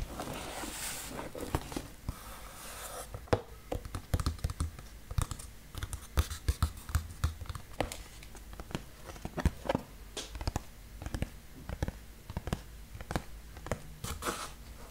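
Fingertips with short nails scratch and tap the surface of a large, flat, brown cardboard shipping box with an ICNbuys sticker; the box is hollow with contents inside. A few seconds of dry, papery scratching give way to a long run of quick, irregular taps. Each tap is a sharp click over a short, low, hollow thump that dies away almost at once.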